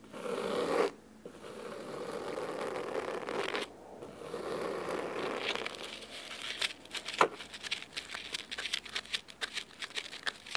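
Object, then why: Cloth-bound hardcover book. Fingernails scratch the cover of a thick, navy fabric-bound hardcover book resting on a wooden table, then move to the spine edge. Long, dry, rasping strokes with short pauses fill the first six seconds, mostly in the midrange with a bright hiss on top. These give way to a run of quicker, sharper ticking scratches that continue to the end.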